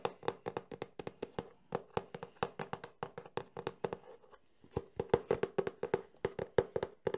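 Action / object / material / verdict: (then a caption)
tap / closed cardboard box / cardboard / none. A medium, closed, printed cardboard Sony camcorder box is held in the hands and tapped rapidly with fingertips and nails on its faces. The taps are dry, hollow clicks with a resonance around 470 Hz, broken by a brief pause near the middle before the fast tapping resumes.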